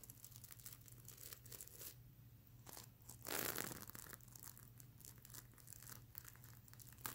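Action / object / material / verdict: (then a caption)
scrape / plush pillow covered in plastic flip sequins / plastic sequins / none. Long nails scratch and flip the plastic sequins on a large, soft, stuffed unicorn pillow covered in flip sequins on fabric. The result is a steady, dense crinkling and rasping with bright, papery texture, rising to a louder, fuller swipe about halfway through before settling back into quick, irregular scratches over a faint low hum.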